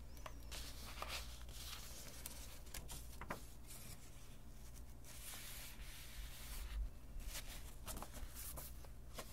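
Fingertips and a palm rub across the paper pages of an open handmade junk journal with a pasted map, lying flat on a cutting mat. Soft, dry brushing and scratchy swishes come in uneven strokes over a faint, steady low hum, staying quiet throughout.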